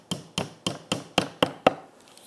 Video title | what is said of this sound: How To Use Crazy Glue Superglue Super Glue To Build IKEA Furniture & Make It Last Forever CA Glue | completamente hacia abajo y se puede escuchar el cambio en el sonido